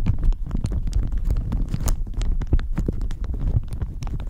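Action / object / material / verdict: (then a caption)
scrape / thin plastic shower cap over a microphone / plastic / none. A thin pink-and-white floral plastic shower cap, hollow and empty, is stretched over a microphone and scratched and squeezed with long manicured fingernails and fingertips. Dense, continuous crinkling and scratching comes through as a deep, muffled rumble with quick overlapping taps.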